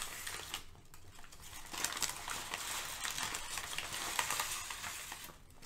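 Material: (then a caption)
Paper. Thin sheets of brown kraft packing paper are crumpled, crinkled and shifted by both hands. A dense, bright crackling rustle runs throughout, with sharper crinkles poking out and a brief quieter dip near the start and end.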